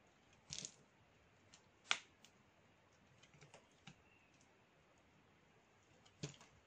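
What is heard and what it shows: A metal blade scrapes and shaves across the cut face of a flat, solid slab of dry black soap held in the palm. Three sharp, bright scraping crackles stand out, with faint ticks between them against a quiet background. Each sound is short and dies away almost at once.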